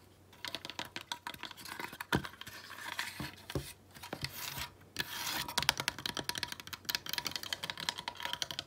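A small ornament of weathered driftwood sticks bound with twine, held over a table, is tapped and scratched quickly with long nails. The clip is a dense run of short, bright clicks mixed with dry scraping and rubbing noise, with a faint steady tone near 920 Hz in the background.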